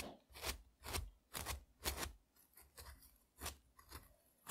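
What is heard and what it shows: A thin metal tool scrapes a single whole frozen, frost-covered strawberry held in the fingertips, shaving icy red crumbs onto a dark mat. Rough, crunchy scratching strokes repeat roughly twice a second, each a short rasping burst with low thuds and a bright, gritty top. The strokes stop dead with no ring between them.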